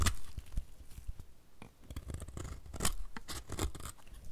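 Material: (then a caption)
Soap. A solid white rectangular bar of dry soap is held in the hand while a utility knife blade scrapes thin shavings from its surface and edges. The result is a series of short, dry, crackly scraping strokes with soft low thumps and bright crisp edges.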